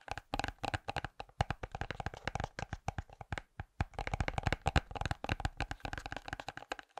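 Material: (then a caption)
Ceramic. A small, glossy, orange-glazed ceramic decorative pumpkin is held between both hands near the mic and tapped with the fingertips and fingernails of both hands. Rapid, uneven bursts of short, dry taps and clicks follow one another, each with a soft low thump and a quick fade.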